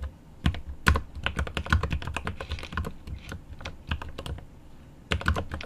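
Both hands type rapidly with their fingertips on a 75% mechanical keyboard with plastic keycaps and an aluminum case. The result is a dense run of sharp, short clacks with a low, thocky body and a bright click on top. A brief lull falls near the end before another quick burst of keystrokes.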